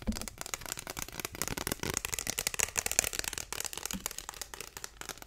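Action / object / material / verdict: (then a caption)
tap / plastic ruler / plastic / none. Fingertips and nails rapidly tap and scratch along the surface and edges of a long, thin, flat, solid translucent pink plastic ruler, about 30 cm, held up in the air. The result is a dense, fast stream of dry clicks and scratchy rasps, bright and crisp, with almost no ring after each contact.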